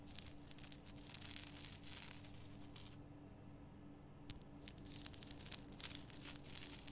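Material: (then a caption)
Rock salt. Long painted nails scratch the rough surface of a large, solid, lit pink rock-salt Himalayan salt lamp, making a bright, dry rasping and crinkling over a low steady hum. The scratching stops for about a second, then resumes with sharper clicks and ticks mixed into the grainy scraping.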